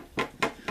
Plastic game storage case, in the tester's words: nothing's nothing's rattling around in there you can hear a little bump just from the thing on the the slide thing but not too bad